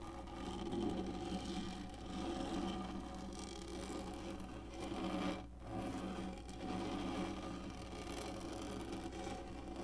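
Long nails scratch and rub with both hands across the textured top of a black, hollow molded plastic lap desk. The result is a steady, dense scraping rasp with a low, hollow body. It dips briefly to near silence just past the five-second mark, then continues.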